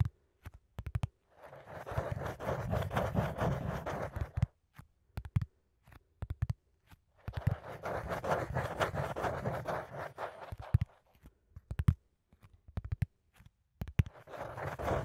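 A flat brown cardboard sheet held close to the microphone is scratched and rubbed by fingertips and nails. Long, dense scratching passes with low rumble and a mid-range rasp alternate with quick sharp taps and short scrapes, and the sound stays dull with little brightness.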